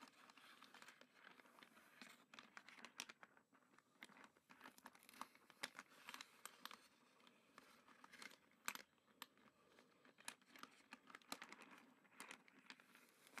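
Fingertips stir and rake through a pile of many small, smooth, solid, multicolored glow-in-the-dark resin garden pebbles in a black container. The pebbles click against each other in dense, quick, bright clatters and rattles with almost no low end. The taps die away almost instantly, at a quiet overall level.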